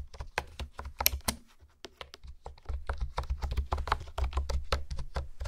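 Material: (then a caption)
Plastic. Fingertips type and tap on a pink plastic honeycomb keyboard with hexagonal keys, making quick, dry, clicky keystrokes in an irregular rhythm. The tapping thins out briefly in the middle, then resumes faster and steadier, over a constant low hum.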